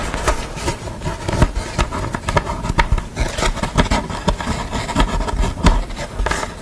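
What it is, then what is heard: Painted art board scratched with nails. Long fingernails rub across the face of a thin painted board bearing a portrait of a woman in glasses, lying flat, then scratch along its edge. A steady, low-heavy rubbing is broken by frequent short, crisp scratching spikes with no ringing after them.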